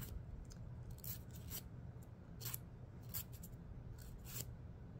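Fingernails are filed against a thin, solid, dark emery board nail file held in the other hand. Short, bright scratching strokes come in bursts over a steady low hum, each rasp stopping quickly and staying soft overall.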